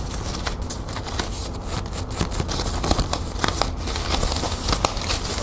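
Long nails scratch and rub the loops of a green metallic plastic ribbon gift bow up close. A steady crinkling, scratchy rustle runs throughout, broken by sharp, bright crackles and snaps over a low background rumble.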